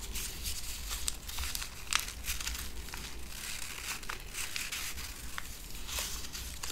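A small strip of connected paper silica gel desiccant packets filled with beads is crinkled and rubbed between fingertips with long painted nails, possibly tearing along the perforation. Bright, dense crinkling and crackling continue throughout, with a few sharper snaps. A steady low hum sits underneath.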